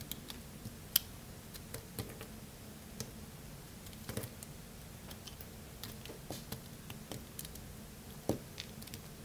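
A craft-knife blade cuts into a small remaining piece of solid, dry blue bar soap. Soft, crisp clicks and light crunches arrive at irregular intervals, with a few sharper snaps standing out over a low, steady background rumble.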